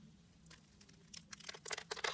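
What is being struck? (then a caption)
Soap bar. A blade and fingers cut and flake small diamond cubes off a solid pink rectangular soap bar with a crosshatch scored surface. After a faint, quiet start, a run of crisp, bright crackling snaps and crumbly crunches builds and grows louder and busier toward the end.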